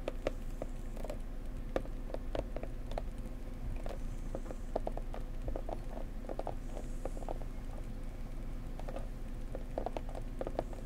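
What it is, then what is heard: Cardboard gift box. Long painted nails tap quickly and gently on a flat, blue, flower-printed cardboard gift box for a bone china mug, held in both hands; the box is closed and hollow. Each short, dry tap carries a hollow tone around 530 Hz and dies away almost instantly over a steady low background hum.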